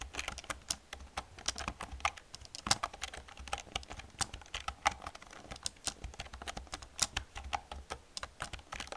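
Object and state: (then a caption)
Plastic computer keyboard being typed on. Long painted nails and fingertips type fast on an old black plastic computer keyboard with hollow plastic keys. The result is a quick, irregular stream of short, bright plastic clicks and clacks, each dying away almost at once, over a faint low hum.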